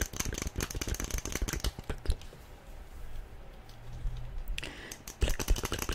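A small hollow yellow plastic SpongeBob figurine, held in both hands, is tapped fast with long nails. Quick, bright clicky taps come in dense bursts, ease into a quieter stretch of soft rustling and scraping in the middle, then return loud and rapid at the end.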